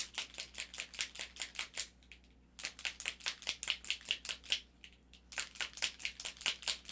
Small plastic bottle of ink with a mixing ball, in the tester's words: there's a little ball. Now you can hear it's moving.